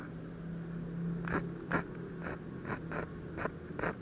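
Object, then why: Ballpoint pen tip on a paper sheet. The metal tip of a ballpoint pen makes short hatching strokes on a thin white paper sheet lying flat with a half-drawn eye on it. Brief, dry scratchy taps sound at an uneven pace over a low, steady background hum.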